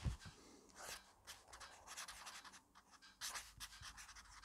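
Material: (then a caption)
Paper. A black fineliner pen scratches and rubs quickly across an open grid-paper notebook lying flat on a wooden desk as a hand writes fast. A soft low thump opens the clip, then dry, bright, papery scribbling strokes come in quick bursts of varying intensity with short pauses between them.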